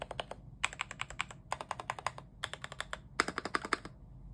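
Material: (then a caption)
Plastic. A cheap full-size mechanical keyboard with a white plastic case, cream, grey and orange plastic keycaps, yellow switches and a foam mod (meant to turn its clicky sound thocky) lies on a bed sheet while both hands type on it with their fingertips. About 34 short, crisp keystrokes come in quick bursts separated by brief pauses. Each keystroke is a bright plastic clack centred around 1.3 kHz with almost no ring.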